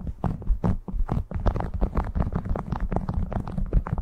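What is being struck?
Waxed cotton food wrap.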